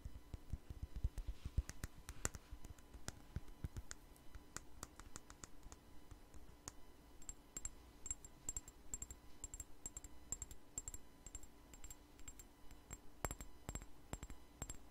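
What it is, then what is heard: Glass perfume bottle. A small clear glass perfume bottle with a white flower-shaped cap, held close to the microphone, is tapped and scratched with long nails. Quick, soft clicks and taps come in an irregular stream over a low, steady hum. From about the middle, a faint high, bright ticking repeats in a regular pattern.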